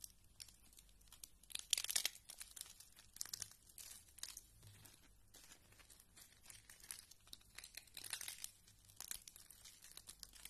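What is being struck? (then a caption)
Pile of soap flakes. A pile of thin green dry soap flakes on a purple mat is pressed and crumbled by fingertips with red nails. The crushing produces dense bursts of bright, crisp crinkling and crunching with little low end, rising and falling in intensity over about ten seconds.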